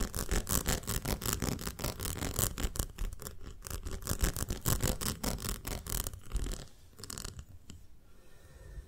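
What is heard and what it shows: Long nails tap and scratch the side of a ribbed glass jar full of honey. The sound is a rapid, uneven run of dry clicks and scrapes with a heavy low thump beneath them. The tapping thins out and quiets over the last few seconds.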